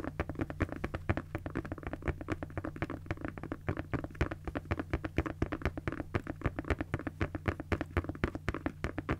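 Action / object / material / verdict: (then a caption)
tap / padded nylon cosmetic bag / nylon fabric / none. A pink padded nylon fabric cosmetic bag is tapped and scratched with long nails, giving a rapid, irregular run of short, dry taps mixed with soft scratching. A steady low hum runs underneath throughout.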